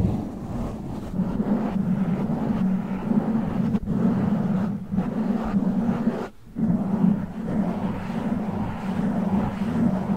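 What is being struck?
Foam microphone windscreen.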